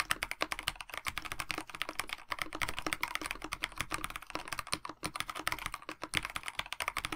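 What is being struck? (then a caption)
Plastic-cased mechanical keyboard with PBT keycaps. Fingertips of both hands type steadily on a KBD67 Lite 65% mechanical keyboard with a black plastic case, white blank PBT keycaps and lubed Dinokeys Mints linear switches. The result is a continuous run of quick, short key taps with a bright, clacky tone, each tap dying away almost instantly.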